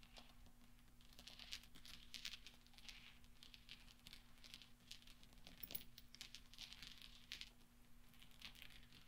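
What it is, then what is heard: Steel balls clinking. Fingertips and nails rattle and clink a pile of small solid steel pachinko balls together on black velvet. The result is a quiet, continuous patter of bright metallic ticks and short clinks with very little ring, over a faint steady low hum.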